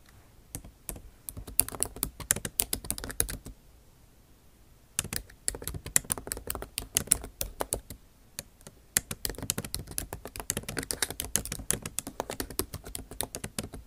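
Long acrylic nail tips tap out fast bursts of typing on the backlit MacBook Pro keyboard, its bare plastic keys set in an aluminum body. Bright, sharp clicks come in dense runs, with a quiet pause between about 3.5 and 5 seconds and a shorter break near 8.5 seconds.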